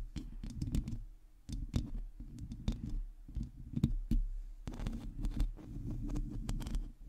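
Long teal nails of both hands scratch across a hollow, domed metal mesh microphone grille. The result is a close, dense, low rumbling scrape broken by many quick, sharp clicks and taps that flash bright.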